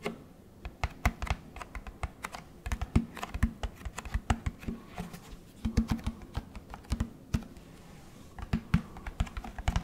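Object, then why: Plastic detergent jug. Fingertips tap the body of a large orange plastic Tide detergent jug held beside the microphone. The result is a quick, irregular run of short, dull plastic taps, weighted toward low hollow thumps, each dying away almost at once. Scattered bursts and brief pauses separate the taps.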